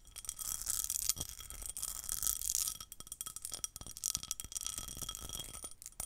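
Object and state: Pressed glass bowl, tapped and scratched with nails.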